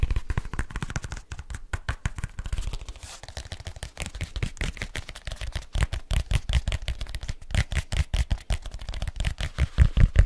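A black leather case is held upright while fingertips tap quickly and nails scratch along its surface and edges. The result is a dense, irregular stream of short, dry, low thudding taps mixed with brief scratchy rasps, with almost no ring after each hit.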